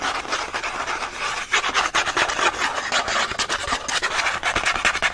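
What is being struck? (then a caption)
Thin printed cardboard card. Several fingertips quickly scratch the printed back of a thin cardboard pen-pack card. The result is a fast, dry, rasping scratch that runs almost continuously and is concentrated in the mid and high range. It carries almost no low end, and each stroke dies away almost at once.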